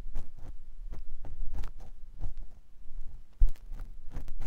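A clear silicone ear pick with a yellow handle scratches inside the canal of a white silicone ear mounted on a binaural microphone block. The result is a run of close, muffled, low rubbing thuds with faint scratchy texture, and a sharper, louder bump near the end.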